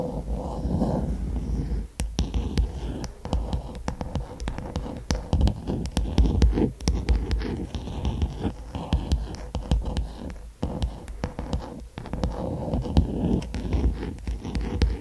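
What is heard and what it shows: Long acrylic nails scratch back and forth along the solid, striped bamboo or wood handle of a hairbrush held horizontally. The result is a continuous, close, low-heavy rasping scratch dotted with quick sharp ticks and short clicks, with brief pauses and little bright content.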